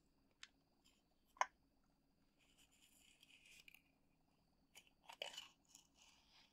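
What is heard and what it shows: Long acrylic nails tap and scratch on the top of a silver metal screw lid closing a medium glass jar full of dark dried herbs or loose tea. Quiet, sharp clicks stand out among softer stretches of bright, hissy scratching. Each tap dies away almost instantly.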